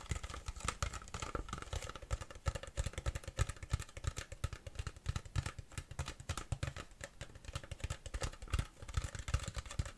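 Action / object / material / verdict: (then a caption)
tap / large plastic water bottle / plastic / none. A large, empty, hollow clear plastic (PET) water bottle with a paper label is tapped rapidly and continuously with long fingernails. The result is a dense stream of short, dry, hollow clicks with a low thudding body and almost no ring.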